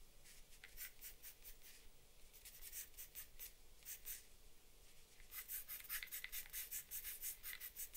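A charcoal or pastel pencil in an orange wrapper draws on a flat sheet of drawing paper lying on a wooden desk. It makes bright, dry scratching strokes, sparse and soft at first and then faster and louder toward the end. A faint low hum sits underneath.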